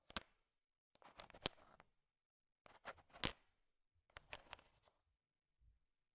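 A thin wooden stick stirs a large pile of small, solid, sugar-shell-coated chocolate M&Ms, making the candies click against each other. The clicks come in quiet, bright, crisp bursts with brief silences between them, and each dies away almost at once.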